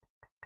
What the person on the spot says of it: you can hear the banging on here